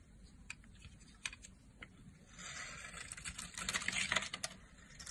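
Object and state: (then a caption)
Bar of soap being shaved. A solid blue Duru soap bar, held in a hand with long nails, has its edge shaved and scraped with a red-handled blade, sending chips flying. Light scattered ticks build into a dense, bright scraping rustle in the middle of the clip, with crisp short clicks throughout, then it thins out again toward the end.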